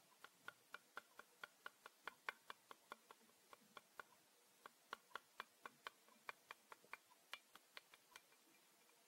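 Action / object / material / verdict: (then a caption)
tap / thin plastic set square / plastic / none. A thin, flat, transparent plastic set square, a triangle ruler with a yellow protractor arc, is held in both hands and tapped and flexed with the fingertips. It makes 31 quiet, dry ticking clicks with a bright tone centred around 1.5 kHz and almost no ring. They come in a loose, steady rhythm with a brief pause near the middle.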